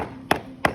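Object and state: Hollow, delaminated cement render.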